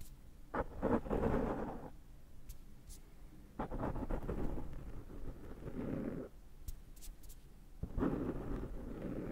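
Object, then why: Foam microphone windscreen. Fingertips pick and scratch cat hair off the rounded top of a black foam microphone windscreen, close up. It makes three bursts of dull, muffled rustling and scratching, heavy in the low and middle range, with quiet pauses between them.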